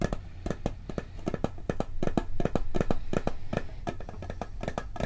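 A round, flat, hollow blue and gold metal cookie tin is tapped on its lid with fingertips and nails. The taps come fast and unevenly as short, dry clicks and thumps that die away almost instantly, over a low, steady hum.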